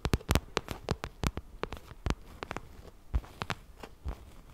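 Long nails tap and scratch the surface of a glossy pink vinyl zippered cosmetic pouch held close to the mic. A quick, irregular run of crisp, short taps with low thumpy bodies and bright clicky edges stops almost instantly, with soft scratchy rustling between them.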